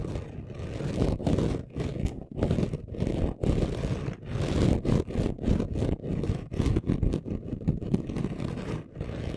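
Short nails scratch fast across a flat chunky gold glitter craft sheet. The result is a rough, gritty scraping that comes in quick, uneven bursts with brief silent gaps, weighted low but hissing up into the highs.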